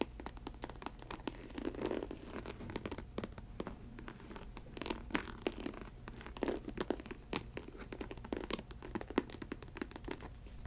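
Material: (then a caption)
Synthetic leather. Long white acrylic nails scratch and tap the upper of an empty faux snakeskin ankle boot, a snake-print synthetic leather Chelsea boot. A steady stream of quick, dry scratches and sharp clicking taps sits over a faint low hum, with short bursts of rapid scraping throughout.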